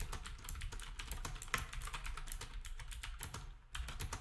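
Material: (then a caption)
Plastic. Fingertips type steadily on a black compact plastic typewriter-style keyboard with round plastic keycaps. Rapid, bright, short clicks of the keys run over a low background rumble, with one sharper keystroke standing out around the middle. The typing briefly thins out near the end before picking back up.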